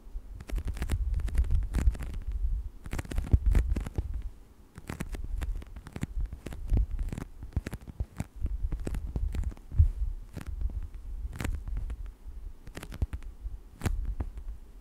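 Fingertips and nails scratch and rub across the surface of a thin, textured plastic scale sheet lying flat. The sound is a deep, muffled rumbling rustle, broken by frequent sharp, dry clicks that flash up into high, bright crackles. It comes in uneven bursts with brief quieter gaps.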